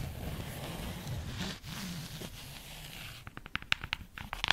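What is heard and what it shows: Long nails scratch across the cover of a solid purple and black patterned fabric-covered hardcover notebook held upright, making a soft, steady rasping hiss. The scratching then gives way to quick, dry taps, short bright clicks with almost no ring.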